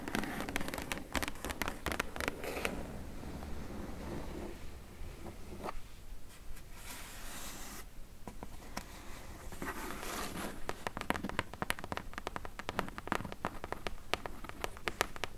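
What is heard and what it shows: Long nails scratch and tap at the corner of a medium, closed, hollow corrugated cardboard shipping box. Dense bursts of quick, dry taps open and close the clip, with softer, rasping scratches in between.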